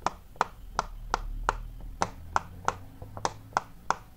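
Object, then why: Silicone pop-it fidget toy. Fingertips quickly press and pop the small hollow bubbles of a large, square, rainbow-striped silicone pop-it fidget toy. Eleven sharp, dry pops centred around 910 Hz land at an uneven, brisk pace, each with a bright click. A few fainter pops fall between them over a low background hum.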